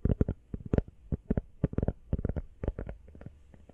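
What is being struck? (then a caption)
Rubber phone case. Fingernails tap quickly on the back and edges of an empty teal rubber iPhone case. The result is a rapid run of soft, dull, muffled taps with low thuds and almost no ring.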